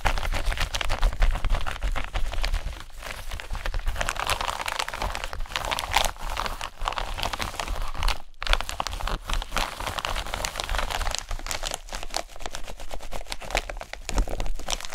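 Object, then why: Plastic bubble-wrap zip pouch. An empty pink bubble-wrap plastic zip-lock pouch is rubbed, squeezed and crinkled with fingertips and long nails. It makes a dense, continuous stream of fast crinkling, crackling and scratching over a steady low rumble, with a brief silence just past the eight-second mark.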